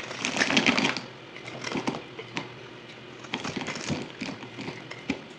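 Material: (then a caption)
Soap. A solid white bar of soap held in one hand is carved with a yellow utility knife blade, scraping dry flakes off over a table, played at double speed. A dense burst of crisp, bright scraping and crumbling opens the clip, followed by quieter, irregular short cuts and flaking crackles.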